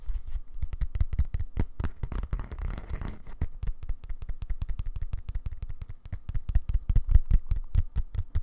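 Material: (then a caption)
Leather. Fingertips and nails tap rapidly on the dark leather-covered back of a flat, tablet-sized bluetooth keyboard case held up in both hands. The taps are dull, low thuds with light clicky edges, coming in a fast, uneven patter. Around two to three seconds in, the tapping blurs into a brief scratchy, rubbing texture before the steady tapping resumes.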